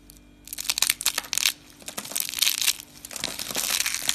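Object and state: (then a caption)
Dry soap curls crushed. Pink rolled dry soap curls are picked up and crushed in the hand with the fingers. Dry, crisp crunching and crackling comes in bursts of bright, high-pitched crumbling with short quiet pauses between squeezes.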